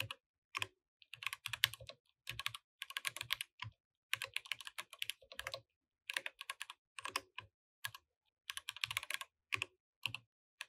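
Both hands type with their fingertips throughout on a compact mechanical keyboard with plastic keycaps. Bright, sharp clicks and clacks come in quick bursts separated by short pauses. Each keystroke is crisp and dies away almost at once, with a faint low thump underneath.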